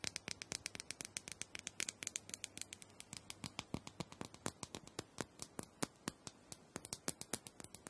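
Long nails tap and scratch the surface of a small, round, purple plastic dome massager, apparently hollow, as it is turned in the hand. About fifty-five quick, dry, bright clicks follow one another with almost no ring, over a soft, steady scratching hiss.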